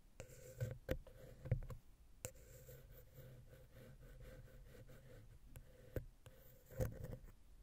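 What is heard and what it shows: A wooden ear pick taps and scratches the center of a silver metal XY stereo microphone capsule on a Zoom H6 recorder. Sharp, close clicks and dull low thumps stand out over soft, steady scratching and a faint hum near 500 Hz. Each tap dies away almost at once.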